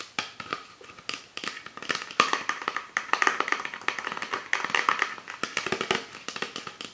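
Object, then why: Plastic soda bottle. Fingertips and nails tap rapidly on the labeled body of an empty, hollow PET Pepsi Sakura bottle held on its side. The result is a dense run of quick, dry plastic clicks with a hollow ring around 1.2 kHz and bright edges. Each tap dies out almost at once, with no low end.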